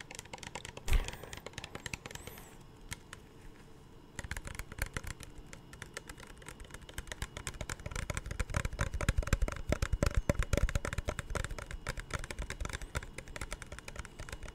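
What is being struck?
Plastic spray bottle.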